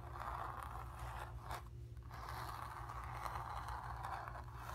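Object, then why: Stretched painted cotton canvas. Long pink nails scratch the painted surface of a stretched, painted cotton canvas with a hollow back. The result is a steady, dry scraping concentrated in the midrange near 1 kHz, with a brief pause partway through, over a constant low hum.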